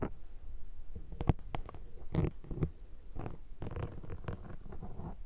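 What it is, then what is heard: Foam microphone windscreen being scraped. A thin metal pick scrapes and scratches the surface of a black foam microphone windscreen throughout. The result is a steady run of soft, muffled, low rustling and crackling, broken by a few sharper, brighter scratches.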